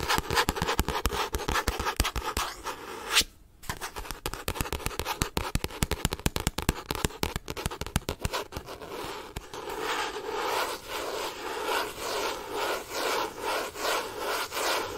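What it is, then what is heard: Paperback book cover. Fingertips and nails rub and scratch the printed cardboard cover of a medium, solid, closed paperback book held in front of a microphone. For about eight seconds, quick dry scratches and crisp clicks come in a dense, bright patter, broken by a brief quieter pause near the three-second mark. The sound then turns into softer, steady rhythmic rubbing swishes until the end.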